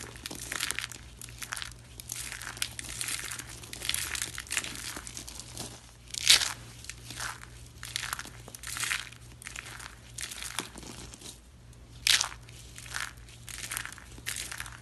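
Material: Soap.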